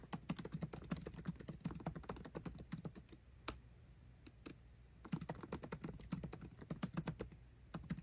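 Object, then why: Laptop keyboard with plastic keycaps in an aluminum body. Fingertips type fast on a MacBook Pro keyboard with plastic keycaps set in an aluminum body, producing quick runs of short, dry clicks with a low thud under each one. The rapid bursts thin to a few scattered taps midway, then pick back up into another fast run.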